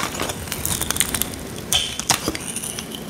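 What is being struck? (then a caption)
Bar of soap scraped with a metal blade. A solid, dry, square pink soap bar held in the hand is scraped with a small metal blade, producing dry, bright crackling scratches and short crisp snaps. Dry flakes break off as the blade works along the bar.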